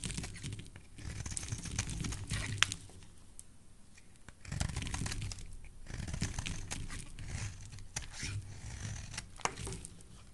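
A utility knife blade carves chunky shavings off the edge of a solid, white, rectangular, hand-sized soap bar held in the hand. The clip has a steady run of crisp scraping and crumbly carving strokes. A low rumble sits under bright, scratchy flakes, with a few sharper snaps standing out.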